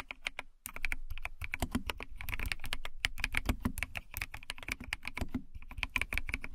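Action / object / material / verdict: tap / plastic mechanical keyboard / plastic / none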